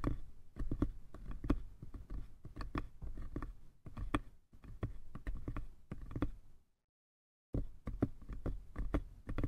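Fingertips tap the sides and lid of a small, light-wood lidded box with a red lattice pattern and a brass latch, likely hollow. A steady run of dull, knocking taps sounds, heavy in the lows with short decay. The taps pause briefly for a moment of silence before resuming.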